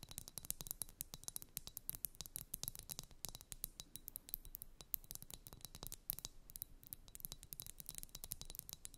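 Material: Glass.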